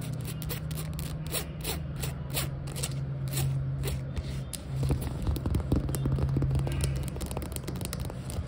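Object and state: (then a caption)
Rubber flip-flop. Long acrylic nails rapidly scratch and tap the patterned foam/rubber sole of a flip-flop lying flat and pluck its tan rubber strap. Quick, bright clicks and scratchy rasps run fast and unevenly over a steady low hum. The sound grows louder about halfway through.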